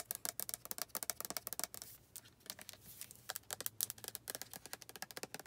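Long red nails tap and scratch on the white flip cap and body of a hand-sized, hollow white plastic lotion bottle that is probably full. Quick, bright clicks come in dense runs, with a short stretch of softer scratching in the middle. Each tap dies away almost instantly.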